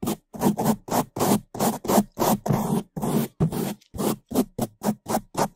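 A gloved hand rapidly brushes the top of a large, soft, porous black foam windscreen over a microphone with a bamboo toothbrush. About nineteen separate fast, loud strokes of bristle scratching and rubbing are heard, each a close, dry burst of noise with a thick low-mid body and a bright, airy hiss on top.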